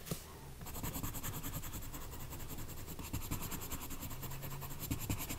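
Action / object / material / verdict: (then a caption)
scrape / colored pencil on a thin paper page / paper / none. A green colored pencil held in the fingertips colors a thin paper page of an adult coloring book lying flat on a woven mat. Steady scratching and rubbing strokes of the pencil lead sound over a low, muffled rumble, with a bright, rapidly pulsing hiss through most of the clip.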